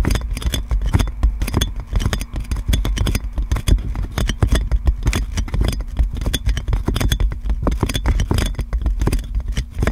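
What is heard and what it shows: Fingernails scratch clear plastic cling film wrapped around a metal microphone, rubbing over the crinkled wrap. It makes a dense, continuous crackling and scraping with bright crinkly ticks over a heavy, boomy low rumble.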